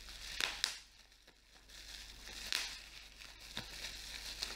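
Clear plastic bubble wrap is held up and its bubbles are pinched and popped between fingers. Five sharp, bright crackling pops stand out over a steady soft crinkling hiss, each snapping off almost instantly.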